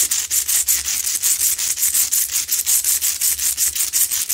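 Long pointed nails scratch aggressively and fast on both sides of a medium, lit pink Himalayan salt lamp, a solid rough salt rock. A bright, dry rasping repeats in quick, slightly uneven strokes of about three per second.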